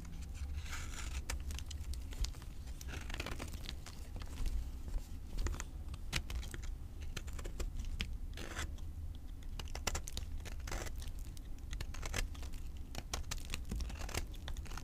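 A utility knife slices and scrapes the remaining piece of a solid green avocado soap bar held in the fingers, cutting it into powdery shavings. Many short, crisp scraping and crackling strokes with bright edges come in quick succession over a steady low hum.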